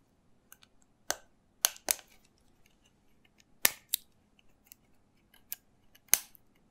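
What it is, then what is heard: Small plastic bottle tapped and scratched. Fingertips and nails tap and scratch the cap and body of a small, hollow green plastic shot bottle with its cap on. Seven sharp, bright, dry clicks stand out at uneven intervals over fainter ticks and scratches, each dying away almost instantly.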